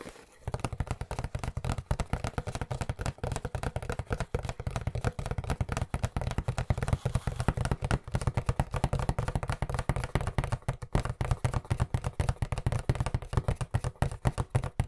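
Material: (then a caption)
Cardboard. An Angelo's cardboard pizza box held upright close to the mic is tapped rapidly with the fingertips of both hands. It gives a fast, steady stream of dull, low, hollow thumps centered near 129 Hz, each one dry and dying away at once, with almost no high sound. The drumming begins after a brief quiet start and keeps going at an even, driving pace to the end.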